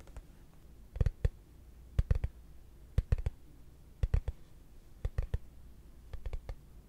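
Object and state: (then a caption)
Frosted plastic case tapped. A hollow, translucent frosted plastic case held in both hands is tapped with fingertips and short nails. Quick, dry clicking taps arrive in small clusters of two or three about once a second. Each tap dies away almost instantly over a steady low hum.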